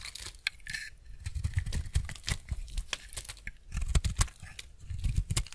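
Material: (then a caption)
Soap. A steel utility-knife blade scrapes and shaves the surface of a solid, embossed, semi-dry white bar soap held in the hand. Repeated crisp, crumbly scraping and tearing sounds come in quick bursts, with dull low thumps under bright, brittle crackles that stop short with no ring.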